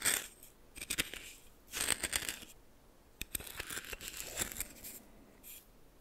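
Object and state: Coarse salt stirred in a small metal bowl.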